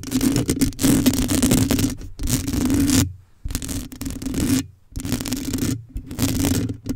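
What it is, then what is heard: Metal mesh microphone grille being scratched. Long acrylic nails scratch the metal mesh grille of a black condenser microphone. The result is bursts of close, gritty scraping with a steady low hum near 260 Hz, separated by short silent pauses.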